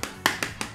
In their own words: bagian atas padat banget